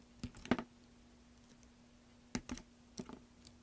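A metal craft knife scrapes and cuts flakes off a large, solid green soap block held in hand, with the soap chips piling onto a black surface. Short, crisp clicking scrapes come in three brief clusters over a faint, steady low hum.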